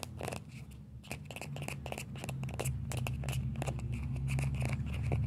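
Fingertips and nails scratch the shell of a small hollow orange plastic ball with a yellow stripe. Quick, dry scratching clicks come about four times a second over a steady low hum. The sound grows slightly louder toward the end.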